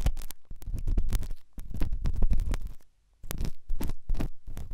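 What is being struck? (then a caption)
Silicone dummy ear of a binaural microphone, rubbed with a pen tip. A pen with a white tip, held by the fingertips, scratches and rubs inside the ear canal of a left white silicone dummy ear on a binaural microphone. Dense, deep rumbling scrapes and thumps come in bursts, with brief bright scratchy flecks. There is a short silent gap near the middle before the rubbing resumes.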